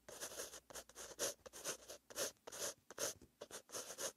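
A pen tip with green ink scratches across a white lined paper notebook page while writing. The strokes come as short, bright, papery scratches in uneven bursts with brief pauses between them, and there is almost no low end.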